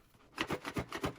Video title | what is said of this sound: Monument Metals Silver Unboxing Review 2023 Libertad Scottsdale Mint Golden State Mint Episode 32 | that's not a good sound it doesn't sound like coins but you can still hear the jiggle